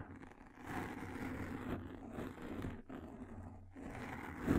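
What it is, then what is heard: Frosted plastic sheet. A thin frosted plastic sheet, held in both hands just above a microphone, is scratched with long nails and flexed. It makes a close, continuous rasping and crinkling with a dull low-mid body and little brightness. The sound dips briefly twice and swells to its loudest flex at the very end.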